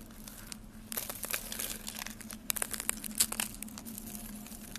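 Hollow, brittle rolls of dry yellow soap curls are squeezed and crushed between fingertips with lavender-painted nails over a pile of yellow soap flakes. Dense, bright crinkling crunches and snaps come in quick bursts over a faint steady low hum, with the sharpest cracks near the end.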